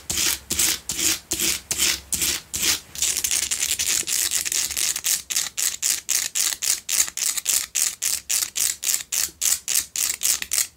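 Long nails scratch the front and sides of a solid pink Himalayan salt double candle holder in quick, repeated strokes. Each stroke is a dry, bright, gritty rasp with almost no low end, and the strokes become faster and more evenly spaced partway through.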